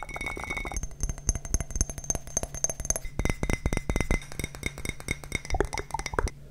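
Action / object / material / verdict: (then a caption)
tap / ceramic coffee mug / ceramic / none. Fingertips and nails tap rapidly on the side of an empty, hollow printed ceramic coffee mug with a handle. The taps make bright, clinking knocks with short ringing tones, and the ring shifts to a lower pitch about halfway through.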